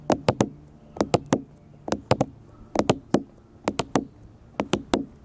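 Fingertips and nails tap a black smartphone with a glass front and a plastic/metal body resting on a table. Eighteen short, sharp knocks come in six quick bursts of three, each dying away almost at once with a dull, low-mid tone.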